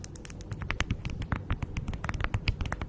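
Hands with long nails crinkle and rub a thin beeswax-coated fabric food wrap stretched over a fluffy microphone windscreen. The result is a rapid run of short, crisp crackles and taps with bright high clicks above a deep, muffled low rumble from the windscreen.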